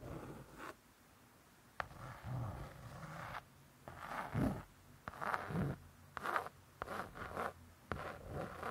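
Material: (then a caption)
Laminated cardboard. A long acrylic nail scratches slowly over the laminated cardboard cover of a closed spiral-bound hardcover cookbook. Soft, rasping strokes with a midrange hiss come one after another, separated by quiet pauses and a few sharp little clicks.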